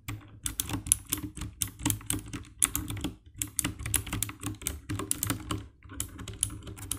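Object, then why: Plastic mechanical keyboard. Fingertips type quickly on the keycaps of a compact 60% black plastic mechanical keyboard with RGB backlight. It makes a steady stream of short, dry clacks with a deep, thocky low body and bright, sharp click tops. There are brief pauses between bursts of key presses.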